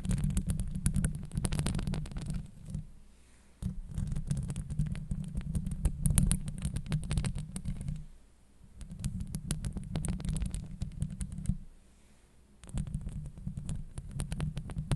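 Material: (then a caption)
Steel mesh. Long nails scratch the sides of a hollow steel mesh microphone grille, producing a dense, low rumbling scrape centered near 150 Hz with faint bright crackles above. The scratching comes in three long stretches, separated by brief quiet pauses.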